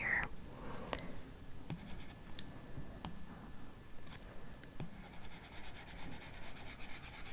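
A large iPad Pro lies flat while the plastic Apple Pencil tip rubs and scratches across its solid glass touchscreen in shading strokes. Soft, dry scraping and stroking sounds repeat at an uneven pace, with small sharp ticks as the tip lands and a faint bright hiss underneath.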